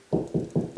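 Four knocks on a drywall ceiling past the joist, about 16 inches over, land as dull low thuds with a short ring. The ceiling sounds hollow here, between the joists.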